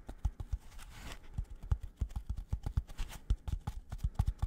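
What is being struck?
Polystyrene foam packaging block.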